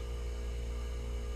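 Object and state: Nothing is struck.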